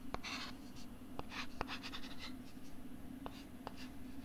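A stylus writes and scratches on a pink plastic LCD writing tablet held at the mic, making bright, papery scraping strokes broken by several sharp, brief taps. A steady low hum runs underneath throughout.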